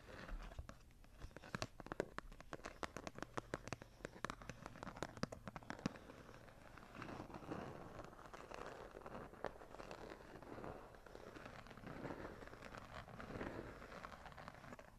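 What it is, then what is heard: Hardcover journal scratched. Long nails and fingertips of both hands scratch back and forth along the textured cover of a small, ornate hardcover journal with gold-foil embossing, lying closed on a table. For the first six seconds the scratching comes as sharp, rapid clicks and rasps. It then eases into a softer, continuous crinkly scraping.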